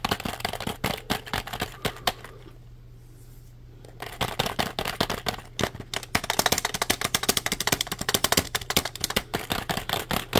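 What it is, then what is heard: Plastic computer keyboard. A black plastic tenkeyless keyboard, held vertically, is tapped quickly on its keys with the fingertips, making rapid, dry, bright clicks. The tapping stops for about two seconds while one hand rests on the head, then resumes denser and louder over a steady low hum.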